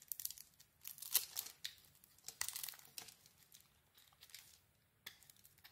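A solid red soap bar with a cream core, held in the hand, is shaved with a metal blade. The result is quiet, crisp, crinkly scraping and tearing bursts that are almost entirely high and bright, with very little low end. The strokes come in uneven clusters, with the loudest cuts near the start and middle.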